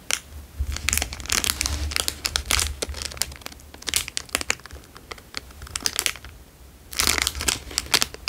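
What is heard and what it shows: A plastic Dairy Milk chocolate bar wrapper is stretched and crinkled between fingertips. It makes dense bursts of sharp, bright crackles over a faint low rumble. There is a brief quieter lull before a final burst of crinkling.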